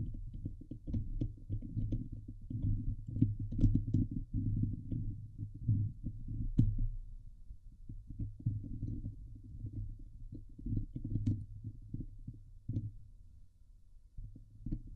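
Fingertips and nails of both hands scratch and rub the hollow steel mesh dome grille of a Blue Yeti microphone. The result is a dense, continuous low rumbling scrape centered around 100 Hz, broken by sharp crackling clicks that flick up into bright highs. It swells loudest in the first seven seconds, then eases off.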